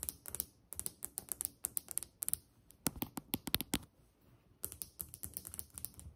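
Long nails of one hand tap a solid white glazed ceramic tile countertop, with the hand briefly moving toward the camera midway. Quick, sharp, bright clicks come in uneven rapid bursts with almost no ring. A short quiet pause near the fourth second separates the bursts, which then pick up again.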